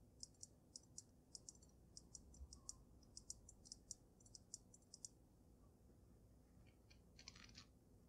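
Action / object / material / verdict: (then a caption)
tap / water-filled glass snow globe / glass / none. Gray-painted nails tap quickly on the glass dome of a water-filled glass snow globe with a dragon inside. Quiet, bright, dry clicks come in a rapid, uneven rhythm over a faint low hum, then pause before a short closing flurry of taps.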